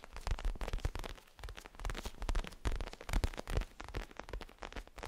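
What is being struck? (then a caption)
Small pillow with crinkly plastic cover. A small pillow with a zigzag pattern and a crinkly plastic cover is tapped and scratched with fingertips and moved quickly. The result is dense, irregular crinkling and rustling over deep, soft thumps, in bursts that swell and fade without a steady rhythm.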